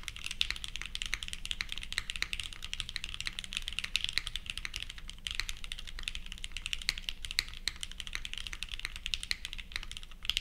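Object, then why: Mechanical keyboard with plastic keycaps. Continuous two-handed fingertip typing on a purple 60% plateless mechanical keyboard (Leviatán r0 with GatX r1 switches) fitted with ABS plastic keycaps. A dense, steady stream of short, bright, crisp key clacks with no ring follows. A faint low hum sits underneath.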